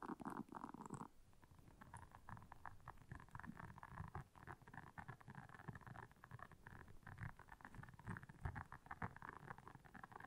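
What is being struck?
Silicone scrubber pad with soft bristles.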